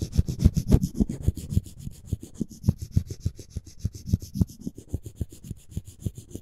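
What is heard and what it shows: Floss string is sawed and rubbed back and forth across the edge of a solid, light wooden spoon handle. It makes a rapid, steady run of short, dry rasping strokes, several per second, low and muffled with a faint airy hiss and no ring after each pass.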